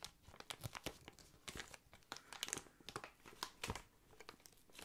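Inflated clear plastic air column packaging is rubbed and scratched with the fingertips. Quick, bright crinkles and squeaky scratches come in irregular bursts over soft plastic rustling, with no ring after each sound.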